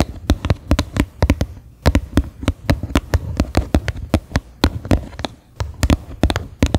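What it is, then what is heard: Upturned plastic bowl tapped with fingernails. Fingernails tap the flat bottom of a medium, faceted white plastic bowl turned upside down, hollow and empty. About 31 quick, irregular taps sound, some in fast pairs and bursts, each a bright click over a hollow low thump. The taps die away almost instantly.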